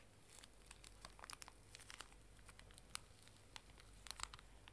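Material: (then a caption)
Plastic film. A small, full pink pocket tissue pack wrapped in plastic film is crinkled and squeezed with fingers and nails while held upright. Quiet, bright, sharp crinkles and crackles pop in irregular bursts, with no ring after each. A faint low hum runs steadily underneath.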